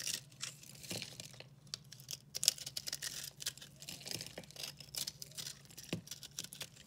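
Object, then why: Recycled soap bar scraped with a knife blade. A dry, hand-sized solid bar of multicolor pastel recycled soap is held in the hand and carved and scraped with a red-handled utility knife blade. The result is a quiet run of many short, bright, crisp scraping and crackling strokes with a faint low hum beneath. Chunks crumble off the bar as it is cut.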